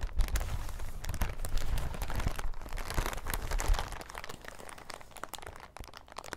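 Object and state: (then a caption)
Crumpled plastic bag. A thin, transparent, empty plastic bag is bunched up and crumpled with the fingers of both hands. Dense, irregular crinkling and crackling rides over a low rumble, loudest for the first few seconds before easing into quieter rustling.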